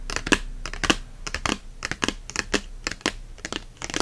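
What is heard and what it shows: A paperback book on herbs with a glossy card cover lies open and face-down like a tent while both hands scratch and tap its cover and spine with fingernails. Quick, irregular clicks and dry, bright scratching strokes follow one another closely over a soft background hiss. Each tap cuts off almost at once with no ring.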